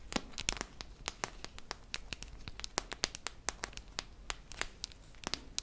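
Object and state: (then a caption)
Metal tin canister tapped with fingernails. Long nails tap and scratch the metal side and rim of a hollow silver tin canister with a red lid, held close up. Many quick, bright clicks with a thin metallic tick stand out over a soft, constant scratchy rustle. Each tap dies away almost at once.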